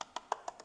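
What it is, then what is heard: Poorly bonded fiberglass on a boat transom. Five quick taps on one localized area of a fiberglass boat transom give short, dry, wood-block-like clicks centred near 1 kHz, with no low end and almost no ring. The spot sounds poorly bonded: not quite hollow, but the glass did not adhere well in that one area.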